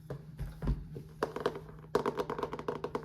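Fingertips tap quickly on the cover of a hardcover Hardy Boys book. The light, dry taps come in an uneven patter, sparse at first and then in denser bursts. Each tap dies away almost at once.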